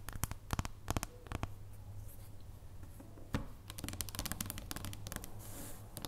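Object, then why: Dark chocolate bar. A solid dark chocolate bar, first held up and then lying on a wooden table, is tapped with the long purple nails of both hands. Quick, sharp, dry clicks come in uneven bursts and flurries over a steady low hum. Each tap dies away almost at once.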